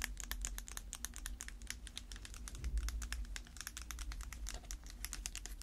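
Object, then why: Small plastic tub. A small round plastic tub filled with dark slime, with a printed lid, is tapped rapidly by long red acrylic nails on gloved hands. The result is a steady stream of quick, crisp clicks with bright high ticks over a low background hum.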